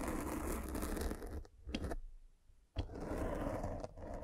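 A metal-spiked derma roller is rolled over a black foam windscreen on a microphone, scratching and piercing the foam. A dense, crackling scratch with a heavy low rumble fills the first second and a half, then drops to near silence broken by two short scrapes. The rolling scratch resumes abruptly and continues to the end.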